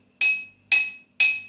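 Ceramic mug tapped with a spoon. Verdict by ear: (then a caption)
Empty. An empty ceramic mug is tapped three times with a spoon to hear its sound before any water is added, as a baseline for comparing pitch as the water level changes. Each tap gives a bright, clinking ring with a clear high tone around 2.5 kHz that fades quickly.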